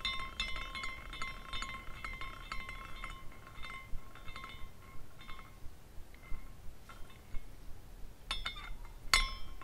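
Fingers spin the top spindle of a small glass carousel figurine, and its glass horses swing and clink against each other. Bright, irregular tinkling rings out around 2 kHz in short chimes, with a sharper, louder clink near the end over a faint low rumble.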